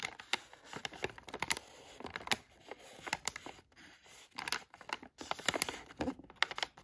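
A thin black tool tip traces and scratches the lettering on a filled, palm-sized yellow Halls cough drop bag made of thin plastic foil, held in one hand. The result is an irregular run of short, dry, bright scratches and crinkly taps with almost no low end and no ring, separated by brief near-silent pauses.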